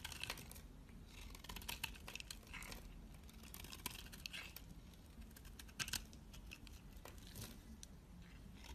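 A utility knife blade scrapes and shaves brown curls from a palm-sized, rectangular, solid dark black soap bar held in the hand. The sound is a quiet, steady stream of dry, crisp scraping and crackling with many short, bright ticks. A low, constant rumble sits underneath.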